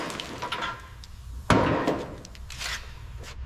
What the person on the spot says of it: Dropping the tank. It sounds hollow, like a bell tolling.